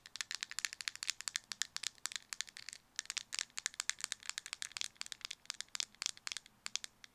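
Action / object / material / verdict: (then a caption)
tap / small plastic cosmetic jar with lid / plastic / none. A small round white plastic cosmetic jar with a black lid is held in both hands while fingernails tap rapidly on the lid and the jar is shaken. About fifty quick, dry, bright clicks and rattles come in uneven bursts, each dying away almost instantly, with faint low background noise beneath.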